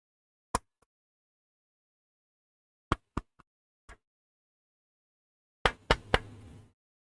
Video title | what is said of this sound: 211111 - Building My First Ortholinear Mechanical Keyboard: Pabile P42 [Working Stream] | even though it said it was 3D printed it actually sounds like wood